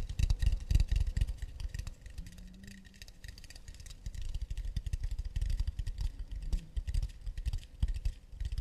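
Long nails tap rapidly on the flat underside of an empty, round, hollow acacia wood plate held upside down. The taps make dense, hollow, low knocks with a light clicking edge, easing into a softer stretch in the middle before picking up again.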